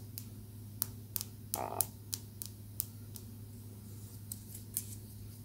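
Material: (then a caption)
Calcite. A small, solid, polished pale-green calcite tumbled stone held between the fingers is tapped with long acrylic nails, making eleven sharp, bright clicks spread unevenly across the clip. Each click is short with almost no ring, heard over a steady low hum.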